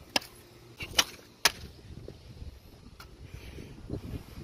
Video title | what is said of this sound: I TRIED TO DESTROY A LIFEPROOF (lifeproof sponsor me)- Day ??? Of Quarantine | it sounds like plastic is breaking